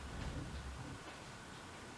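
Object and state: Nothing is struck.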